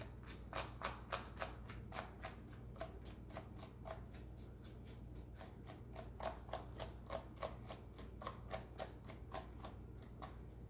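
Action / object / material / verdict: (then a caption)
scrape / plastic laptop keyboard keys / plastic / none. A small thin brush held in a rubber-gloved hand is brushed and scratched between the keys of a black plastic laptop keyboard with a hollow body. Quick, bright, scratchy strokes come about three to four per second in an uneven rhythm over a steady low hum, each stroke dying away almost at once.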